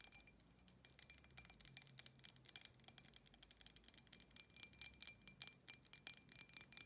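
Long nails tap quickly on the sides of an empty, clear embossed glass tumbler with a thick base, giving a ringing chime. The many bright, high, glassy clicks come in an uneven rhythm and grow louder toward the end.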